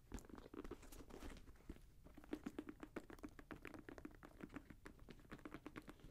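Fingertips tap rapidly on the synthetic leather and mesh upper and strap of a grey Jordan Flight 45 high-top sneaker. The result is a quick, uneven patter of soft, dull taps that die away almost instantly.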